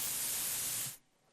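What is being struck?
Nothing is struck.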